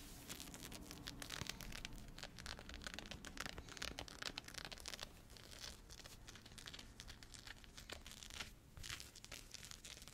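Fingernails scratch and fingers rub the soft, thick teal knit cotton fleece cuff of a sweatshirt sleeve being worn. The result is a continuous, quiet stream of dry, bright scratching and crinkly rustling bursts, with a faint low hum underneath.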